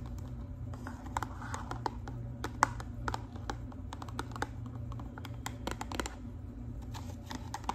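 Long pink acrylic nails tap and scratch the sides of a small, hollow, pink and white cardboard hair color box held in the hands. The result is a steady run of quick, dry, light clicks with soft scratching between them, over a low background hum.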